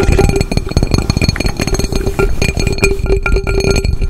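An upside-down hollow aluminum cooking pot has its base and sides tapped quickly with fingertips and nails. The result is a dense, continuous patter of soft, low-heavy knocks and light clicks over a steady metallic ring with bright overtones.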